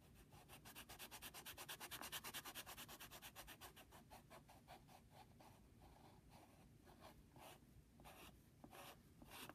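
A pencil's rubber eraser rubs steadily across the paper surface of a flat brown Jiffy padded paper mailing envelope on a desk, near the logo. Quick, even back-and-forth strokes make a bright, hissy, papery rubbing that peaks early, then thins out into softer, more spaced swipes toward the end.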